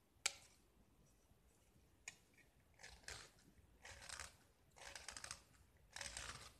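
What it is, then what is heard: Painted gypsum brick being scraped. A small, solid gypsum brick, white with remnants of green paint, is held in the fingers and scraped with a metal utility knife blade, breaking off crumbly flakes. Two sharp ticks come first, followed by several longer, bright, gritty scraping strokes, each a dry, crunchy rasp with little low end.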